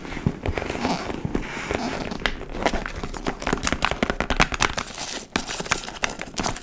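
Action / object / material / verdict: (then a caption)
scrape / leather tote bag / leather / none. Long nails scratch and tap the side panel and flap of a large, hollow, dark-brown leather tote bag, likely faux leather. Dry, crinkly scraping runs under a steady string of sharp, bright clicks that die away almost at once.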